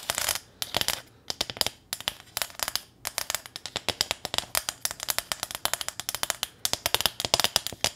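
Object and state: Corrugated metal sign.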